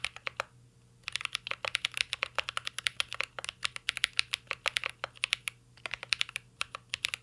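Two hands type steadily with their fingertips on a full-size mint-green Cyberboard R3 mechanical keyboard with a metal case, plastic keycaps and Holy Panda switches, resting on a desk. About fifty crisp, bright, short clacks come in quick runs after a brief pause near the start, over a faint steady low hum.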